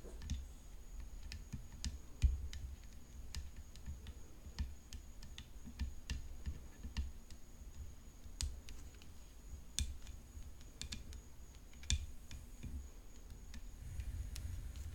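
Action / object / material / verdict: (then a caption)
tap / graphite composite tennis racket frame / graphite composite / none. A graphite composite tennis racket decorated with rhinestones lies flat while long fingernails tap and lightly scratch its hollow composite frame and throat. The result is a scattered stream of quick, bright clicks with faint scratching between them, over a low steady hum and a thin, high constant whine.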